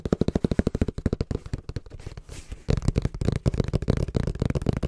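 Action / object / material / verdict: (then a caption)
tap / cardboard box / cardboard / none. Fingertips tap quickly and rhythmically on the printed face of a small, hollow brown cardboard box held in both hands. The taps make dull, low, hollow thuds that stop almost instantly, easing into a softer, scratchier stretch midway before the fast tapping picks back up.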